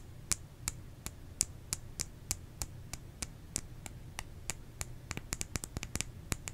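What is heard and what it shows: Fingernails tap on a bar of soap, producing 25 short, dry, bright clicks that die away almost instantly. The taps come at an uneven pace, growing quicker toward the end, over a faint low hum.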